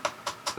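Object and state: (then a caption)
Hollow plastic transmitter shell. Knocking on the plastic shell of a Jumper T20S EdgeTX ELRS radio transmitter gives three quick, hollow taps. Each tap has a light, short ring around 600 Hz. The shell sounds hollow because the circuit board inside is tiny, leaving a lot of empty space, and the plastic is a little thin; adhesive foam inside would fix it.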